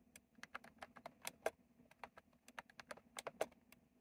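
Fast fingertip typing on a retro plastic mechanical keyboard with round plastic keycaps produces about 21 sharp, clacky keystrokes in an uneven rhythm, each one short with a bright click. A faint steady low hum sits underneath the taps.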